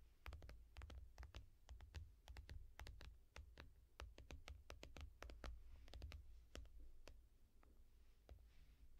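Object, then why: Glass tablet touchscreen in a foam rubber case. A small tablet with a shiny glass touchscreen in a yellow foam rubber case, held flat, is tapped with the long painted nails and fingertips of one hand. Quick, dry clicking taps land in a steady, irregular rhythm, each sharp and bright with almost no ring. Underneath runs a constant low hum.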